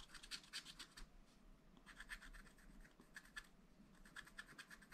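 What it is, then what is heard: Scratch-art paper being scratched. A wooden stylus scratches lines into a black coated sheet of scratch-art paper near a drawing of a car. The result is quiet bursts of dry, bright scratching in quick strokes, with short pauses between them, over a faint low hum.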